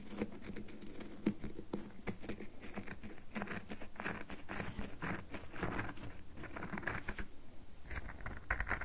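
Long nails tap and scratch the faces of a solid rectangular red bar of soap held in the palm. A dense, quick patter of soft dry clicks and brief scratchy rasps runs throughout, each tap dying out almost instantly over a low steady hum.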